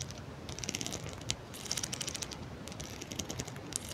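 Long manicured nails run across and flick the teeth of a solid, hand-length pink plastic wide-tooth comb held close in front of the mic. Bursts of rapid, bright plastic ticks and ratchet-like clicks come in uneven waves over a soft low rumble, with a few sharper flicks standing out.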